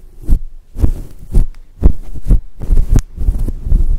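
Long acrylic nails scratch and rub a grey and white fluffy synthetic fur windscreen over a microphone. The result is a series of about ten deep, muffled thumps with soft brushing between them, loosely paced at roughly two per second and almost entirely low in pitch.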